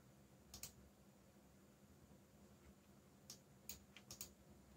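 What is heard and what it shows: Fingertips tap the black plastic keycaps of a backlit mechanical keyboard, producing seven short, bright clicks: a quick pair near the start, then a cluster of five toward the end. Each click is crisp and dies out almost instantly over a steady low hum.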